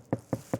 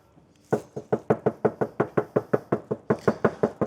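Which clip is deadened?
The first.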